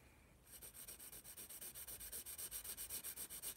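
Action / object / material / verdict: scrape / graphite pencil on paper sketchbook / paper / none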